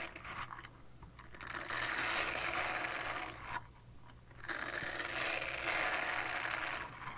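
Long painted nails scratch a small, flat, solid purple silicone scrubber pad held in both hands. The sound is a dense, bright, rasping scratch that builds over the first two seconds, dips quieter for about a second near the middle, and then swells back to a steady scratching that eases slightly at the end.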